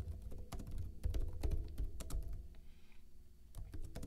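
Fingertips with short blue-painted nails type rapid taps on a backlit plastic laptop keyboard with hollow keycaps. The keys give quick, hollow, thunky clicks with a deep low body, in an uneven, steady typing rhythm that briefly thins out before picking up again.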